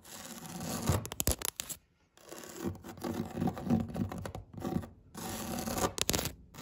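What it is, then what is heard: Woven vinyl placemat. Long red nails scratch and rub across the weave of a flat grey-green woven vinyl placemat lying on a table. Bursts of dry, raspy scratching come in quick strokes, separated by brief silent pauses.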